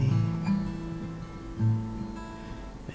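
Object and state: Nothing is struck.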